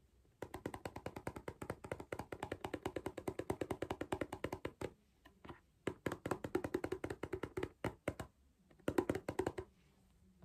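Fingertips and nails tap rapidly on the clear plastic lid of a small cardboard Pringles crisp tube, making short, dry, hollow clicks with a mid-range tone. The taps come in quick bursts with brief pauses around five and eight and a half seconds.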